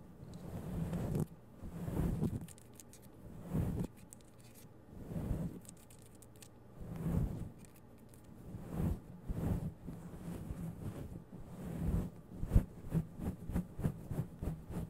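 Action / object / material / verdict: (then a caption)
scrape / synthetic fur microphone windscreen / synthetic fur / none. Long yellow acrylic nails scratch and rub through a grey-white fluffy synthetic faux fur windscreen covering a microphone head. Close, low, muffled rustling comes in swells of about a second with pauses between. Toward the end the swells give way to quicker, sharper scratching strokes.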